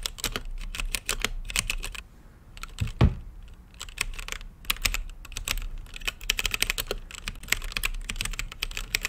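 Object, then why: Mechanical keyboard with plastic keycaps. Fingertips type on a mechanical keyboard with plastic keycaps and a translucent lit case, producing rapid, crisp, bright clicks with short, dry decay over a steady low hum. The typing runs in quick bursts, eases into a quieter stretch around two seconds, gives one heavier thump near three seconds, then resumes at a brisk, steady pace.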